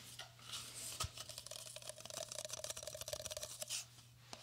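Fingertips rub and scratch a hollow red cylindrical Pringles chip can, a cardboard composite tube with a metal base, held in the hands close to a binaural dummy-head microphone. Quick, dry, bright scratches and rasps come in an irregular flurry over a faint hollow tone around 600 Hz and a low steady hum, with a soft swish near the end.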